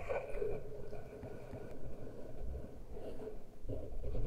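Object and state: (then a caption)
Metal microphone grilles scratched and rubbed. Fingernails scratch and fingertips rub both uncovered metal-grille microphone capsules on a Tascam recorder. The result is a close, low, rumbling scratch-and-rub texture with a steady hum underneath and a few louder swells of friction.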